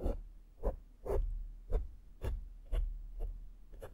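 A small flat makeup brush sweeps over a black foam microphone windscreen, making a series of soft, close brushing strokes. Each stroke is a low, muffled thump with a brief rasp in the mids, the strokes repeating at an uneven, unhurried pace.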